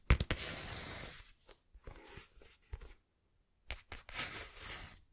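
Fingertips scratch and tap the cover and page edges of a small, closed, green cloth-covered hardback book. Sharp, low taps alternate with dry, bright scratching bursts. A brief near-silence falls before a final stretch of taps and scratching.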